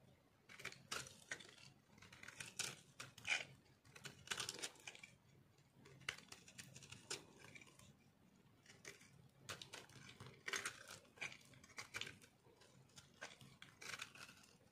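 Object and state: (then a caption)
Dry soap bar, crunchy. A metal knife carves crunchy pieces off a solid, rectangular, speckled dry soap bar held in the hand. The clip is a quiet run of short, bright, dry crunching and scraping bursts at an irregular pace, with little low end and almost no ring after each cut.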